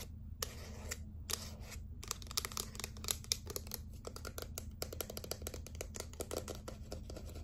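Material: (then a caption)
Plastic. Fingernails tap and scratch the side and bottom of a small hot-pink plastic setting spray bottle with a black pump top. A rapid run of short, bright plastic clicks and scratchy scrapes plays over a steady low hum throughout.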